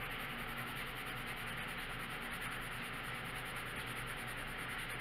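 A red wooden colored pencil is rubbed back and forth over a thin paper coloring book page lying flat on a wooden table, coloring in a stop sign. A steady, quiet scratchy rubbing continues without a break for the whole clip, with a hiss concentrated in the upper frequencies.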